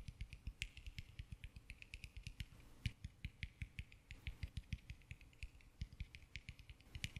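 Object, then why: Whole orange, textured peel. Fingernails tap and scratch the textured peel of a small whole orange held close to the microphone. A steady run of quick, dry taps lands with a soft low thump and a crisp, bright click, each dying away almost instantly. The quiet, close result has a faint scratchy rustle between the taps.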